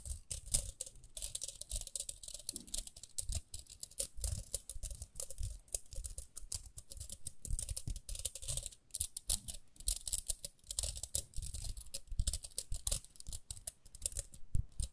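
Long nails scratch the ridged rim and dark bristle side of a small round pink plastic hairbrush. The result is a dense, uneven patter of quick, dry scratches and ticks, with a bright hiss over low thumps.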